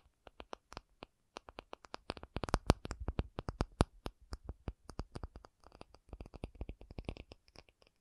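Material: Acrylic.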